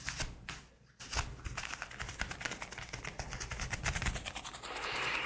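A pair of black leather gloves worn on both hands is clasped, rubbed and squeezed together close up, making the leather creak and rub. After a brief quieter gap near the start, a dense run of short crackling creaks and squeaks follows. It ends in a steadier, brighter rubbing hiss.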